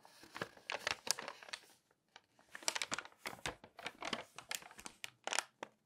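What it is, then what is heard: Glossy paper magazine pages. Long nails scratch and rub the pages of an open glossy paper magazine, the Magnolia Journal, and turn them. Bright, dry crinkling and rustling come in quick bursts with a short pause near the two-second mark.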